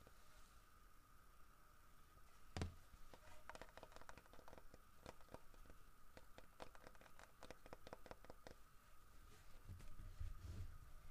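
Fingertips tap and scratch the carved fur texture of a large, solid carved wooden bear statue holding a fish, making a run of quick, dry, short clicks and soft scratchy patter. A steady faint background tone runs throughout, with a couple of louder low thumps near the start and end.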